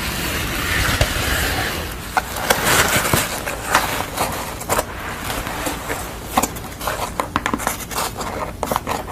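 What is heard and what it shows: Long nails scratch across the corrugated edge and surface of a piece of corrugated cardboard bearing a yellow pastel portrait. Steady broadband rasping is punctuated by many sharp, bright clicks and scrapes.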